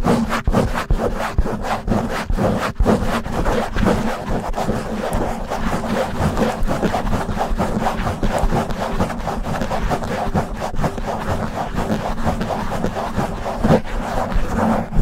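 Fingertips and short nails of both hands rapidly scratch and rub back and forth on a black foam windscreen covering a silver desktop microphone. The result is a loud, continuous, muffled rustling and scraping that is dense in the low end, with repeated quick strokes.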